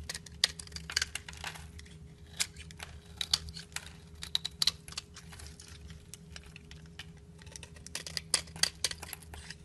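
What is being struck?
Bar of soap scraped with a metal knife.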